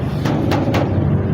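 Knocks on the bare steel fender of a 1990 Nissan Sunny give three short, low metallic taps over a steady low rumble, each ringing out quickly. The clear ring shows the panel is bare metal with no body filler.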